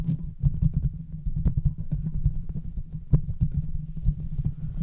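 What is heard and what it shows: A large silver microphone with a hollow metal mesh grille and no cover is tapped rapidly with the fingertips of both hands. The result is a dense run of short, deep thumps with a low hum around 137 Hz. Each tap dies almost instantly and there is almost no bright content.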